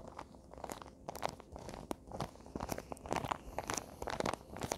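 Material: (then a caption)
Paper. A small rectangular present wrapped in printed Christmas paper, likely a hollow box, is handled and crinkled with fingertips and nails. Quiet, dense crinkles, crunches and light taps overlap throughout, with bright crackly edges. Each sound stops dead, with no ring.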